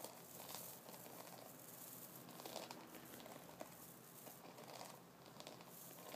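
Fingertips of both hands scratch and flick a double-sided brush held upright, with a wooden body, white synthetic bristles on one side and wooden nubs on the other. The result is a steady, quiet, crinkly scratching with a bright hiss, broken by occasional sharper taps and flicks.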